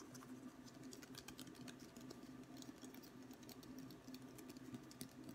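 A long, thin, solid wooden ruler, smaller and darker at one end, is held upright and then horizontally while fingertips tap along it. The result is quiet, rapid, dry patter-like ticks with bright clicky tops, over a faint steady low hum.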